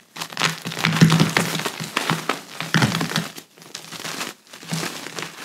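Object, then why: Pressed gym chalk chunks. Both hands squeeze, rub and crumble solid pressed gym chalk chunks into fine powder over a large white chalk pile, the fingers and palms doing the crushing. Dense, crunchy crumbling and crackling comes in bursts with short pauses between, carrying a low hum-like undertone beneath bright, gritty crackles.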